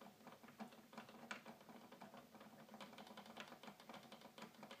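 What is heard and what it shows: Fingers rapidly drum on the plastic keys of a hollow red plastic toy keyboard. They make a quick, steady run of light, dry clicks with a faint hum underneath, each click dying away almost at once.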